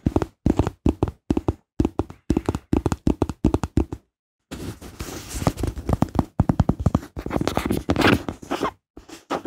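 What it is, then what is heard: Rubber bath toy boat. A small, hollow, teal rubber or silicone floating bath boat is held in both hands and tapped and scratched with long pink-painted nails. Quick clusters of soft, dull, low taps with almost no ring fill the first four seconds, then stop for a short silence. Denser tapping mixed with a faint scratchy rustle follows.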